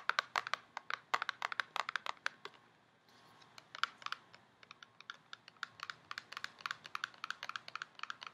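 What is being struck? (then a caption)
Cardboard cosmetics box. Long painted nails tap rapidly on a tall, narrow, printed cardboard box for a COOLA setting spray, held in hand, hollow with the product inside. Quick, dry, bright clicks come in dense bursts, with a short pause around the three-second mark before the tapping resumes. Each tap dies away almost at once.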